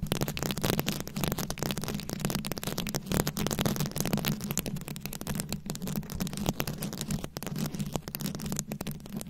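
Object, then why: Rhinestone-covered microphone head. Long pointed nails scratch and tap across the small rhinestones covering a rounded microphone head. The result is a dense, continuous stream of crisp, bright clicks and scratchy rasps, with a steady low hum running underneath throughout.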